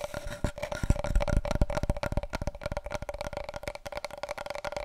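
Long nails rapidly tap and scratch along the surface of a long, hollow, brown cardboard paper roll tube, which is then held diagonally. The result is a dense, irregular patter of dull, hollow taps with short scratchy strokes, mostly low in tone, over a steady faint midrange hum.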